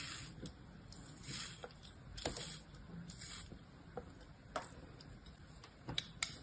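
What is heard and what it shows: A metal utility-knife blade slices and scrapes through a crosshatched, solid mound of packed kinetic sand held in the palm. Quiet, gritty scraping swishes carry bright hiss, with a few short, sharp crunchy snaps where the blade cuts through.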